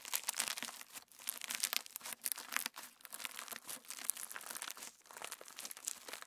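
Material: Slime, plastic.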